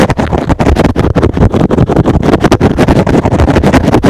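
A soft, porous, hand-sized rectangular green and blue synthetic foam sponge is held in one hand and scratched fast across the top with fingertips and short nails. The result is a dense, rapid run of dull, muffled scratching bursts, heavy in the low range with very little brightness, each stroke cutting off quickly.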